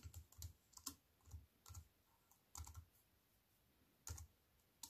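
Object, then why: Plastic computer keyboard with aluminium frame. Fingertips with long white nails type on a compact wireless keyboard with black plastic keys in a thin silver aluminium frame, resting on a wooden table. Quiet, irregular bursts of short taps each pair a soft low thud with a bright click, separated by brief pauses. Each keystroke dies away almost instantly.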